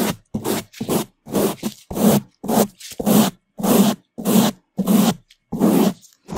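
A bamboo toothbrush held in a gloved hand brushes the right side of a black foam microphone windscreen. Quick, loud bursts of bristle scrubbing repeat at an uneven pace, giving a rough, raspy scraping with a low hum in the body of each stroke and short silences between.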